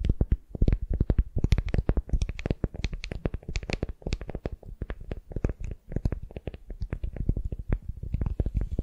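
Long nails scratch and tap rapidly on a solid wooden sphere wrapped in a beeswax-coated cotton wrap. The result is a dense, uneven stream of short, dull, low thumps with faint crinkly, bright scratching edges, each tap dying away almost instantly.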